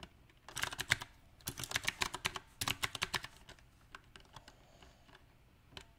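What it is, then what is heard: Mechanical keyboard typing. Fingertips of both hands type on a backlit 68-key mechanical keyboard with round plastic typewriter-style keycaps on a silver metal frame. Bright, sharp clicking key taps come in uneven bursts with short pauses between them. The taps stop almost instantly, followed by a few softer scattered presses near the end.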